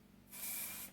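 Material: Nothing is struck.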